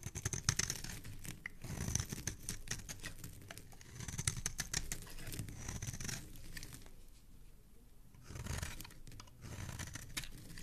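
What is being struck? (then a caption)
Bar of soap. A metal utility blade scrapes and shaves the surface of a palm-sized solid green oval soap bar held in one hand, curling shavings off into a pile. Rapid, dry scraping and crinkly shaving strokes come in bursts with a bright, crisp edge over a soft low body. There is a brief quieter lull near the end before the shaving picks up again.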